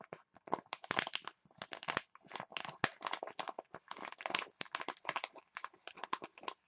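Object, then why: Foil sachet. A printed foil face mask sachet is crumpled and crinkled by both hands with long nails. Dense bursts of sharp, crisp crinkling crackle in quick irregular clusters with brief silences between them. The sound is bright, with almost no low end.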